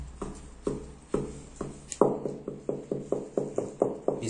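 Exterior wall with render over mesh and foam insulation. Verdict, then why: Hollow. A hand knocks 15 times on a balcony wall finished with an EIFS (dryvit) insulation system: mesh over insulation board under a stone-grit coat. Each knock is a short, dull, hollow thud pitched around 400 Hz that dies away almost at once. The wall sounds hollow because its inside is empty.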